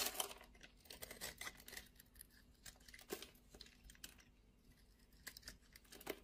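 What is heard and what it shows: A metal utility blade cuts and scrapes the patterned top of a solid rectangular blue-and-white striped soap bar held in the palm, and flakes fall off. A quiet, dry, crunchy scraping with bright, crackly edges comes in a string of short bursts, with sharper crunches near the start and end.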